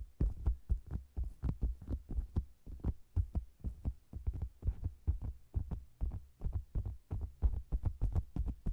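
Long green nails tap and scratch the sides of a round, hollow faux leather cosmetics bag with a microphone inside. The result is a fast, uneven run of deep, muffled thumps with soft scratchy brushing between them, heard closely from inside the bag and almost entirely low in tone.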